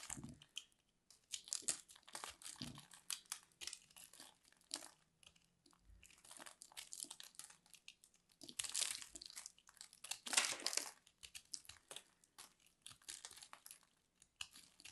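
A fist-sized, solid purple ball of grated soap is held in the hand and scraped and cut with a metal blade, so crumbly shavings fall off. The result is a quiet, dry, bright crunching and crinkling made of dense bursts of scraping with almost no low end, briefly louder near the middle and later in the clip.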